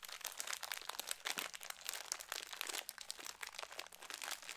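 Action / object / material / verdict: scrape / foil-lined plastic snack bag / foil-lined plastic / none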